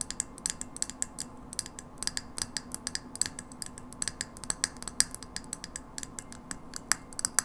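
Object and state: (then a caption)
Frosted glass light bulb tapped with nails. Long nails rapidly tap and scratch the globe of a hollow frosted glass light bulb held in the hand. The result is a quick, irregular series of sharp, bright clicks that die away almost instantly, over a faint steady low hum.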